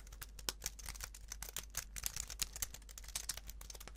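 A slim white plastic computer keyboard, held in both hands, is typed and tapped with the fingertips. Quick, dry, bright clicks tumble out in an uneven run, each dying almost at once over a faint low hum.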